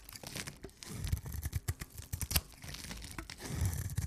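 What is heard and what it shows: A rounded rectangular, solid pink dry soap bar is held in the hands and scraped and cut along its surface with a knife blade. Dense, dry crumbling and tearing scrapes sound in quick, low-thumping bursts with bright crackle on top, in a close, small-room sound.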